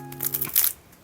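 A home-baked sourdough loaf, just out of the Dutch oven and cooled on a wire rack, is handled close by so its crust crackles in five quick, bright, crisp bursts, with the loudest near the end. Music with steady low tones plays underneath and stops partway through. The crackling confirms the crust is crispy.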